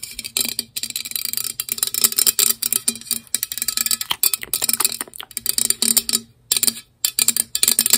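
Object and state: Plastic water bottle.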